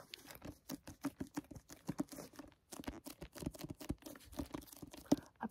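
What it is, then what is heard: Plastic-jacketed hardcover book. Finger pads tap and grip the clear plastic jacket cover of a solid library hardcover, *The Quiet Zone*. The result is a quiet, rapid patter of soft, dry taps with a low-mid knock around 285 Hz and faint crinkling between hits, each tap dying away almost instantly.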